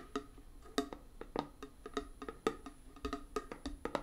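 A small round closed metal tin of hand putty with a colourful label is held up and tapped rhythmically with fingernails on the lid and side. Nineteen quick, light clicking taps each give a brief hollow metallic ping around 445 Hz that dies away almost at once.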